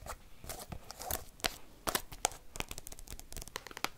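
An open black binder album with plastic card sleeves is scratched and tapped with paperclips worn on the fingertips. Fast, sharp plastic clicks and taps mix with crinkly scratching, bright and dry with almost no ring, across the whole four seconds.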